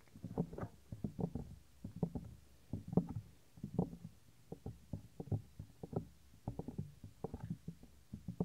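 Fingertips rub and press down on the small, solid, white soft silicone ear of a 3Dio binaural microphone. The result is an irregular series of deep, muffled thumps and rubbing bursts. The sound is heavy in the low end, with almost no high or bright content and very short decays.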